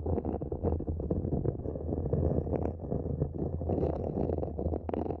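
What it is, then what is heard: Plastic mini planter scratched with nails. Long nails scratch the sides of a small, empty, matte black hollow plastic planter pot that sits upside down over the microphone. The result is a dense, continuous, muffled scraping with a deep, boomy low rumble. Quick bursts of scratching rise and fall throughout, with almost nothing in the high range.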